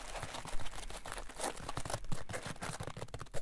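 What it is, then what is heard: Polyethylene foam block. A solid green polyethylene foam block is pressed and folded with fingers on a table, then squeezed in the hand, while a metal ruler lies unused nearby. The foam gives off irregular, dense crinkling and squeaky creaks with brief louder crunches over a low, rumbling undertone. Each sound stops quickly with almost no ring.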